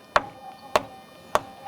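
An ordinary rock beside a musical stone is struck three times for comparison, giving short, dull knocks. Each knock stops almost at once with no ringing, unlike the musical stone.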